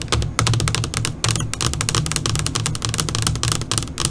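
Long pointed nails of both hands tap rapidly on a flat black LCD computer monitor screen. The result is a dense, fast stream of sharp, bright clicks with short decays, over a steady low hum around 110 Hz.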